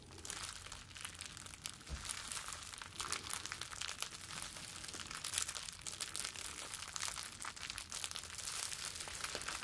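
A wad of clear plastic bubble wrap, cupped in both hands, is squeezed and crinkled with the fingers. It gives a continuous, bright crackling of dense, quick crinkles that carries steadily through the clip.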